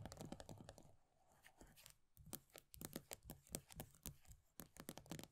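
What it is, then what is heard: Plastic body butter tub. Long nails rapidly tap and scratch the base of an upside-down plastic body butter tub with a pale green plastic base and a paper label. Dense bursts of short, dry clicks with soft low thumps and bright scratchy edges are heard, easing into quieter scraping for a moment before the fast tapping picks back up.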